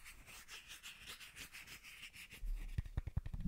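A small hollow white plastic bottle cap is held close to the microphone and rubbed and tapped with fingertips and short nails. For the first two and a half seconds there is soft, steady scratchy rubbing with a bright hiss, then it gives way to quick, irregular taps with a deep, close-up thump that stop short with no ring.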